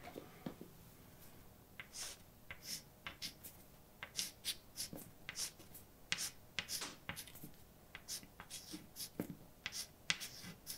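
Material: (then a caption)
Chalk. A hand writes words in white chalk on a large, flat, dark blackboard, making a quiet series of short, bright scratching strokes, with brief taps for punctuation. Each stroke dies away almost instantly against a faint background hiss.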